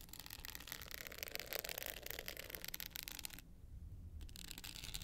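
Long nails scratch and scrape the navy glitter face of a small, hollow hard-shell clutch with a gold metal rim. The result is a dense, bright, gritty rasp over a low rumble. The scratching briefly stops for about a second near the end, then resumes.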